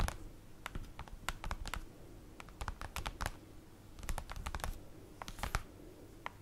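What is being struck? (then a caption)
Glossy printed paper sheet. Long acrylic nails on both hands tap and scratch across a large, flat, dark glossy printed paper sheet lying on a table. The sound is a run of quick, dry, clicky taps mixed with brief scratching strokes. There is no ringing, as befits the thin, flat sheet with no hollow body.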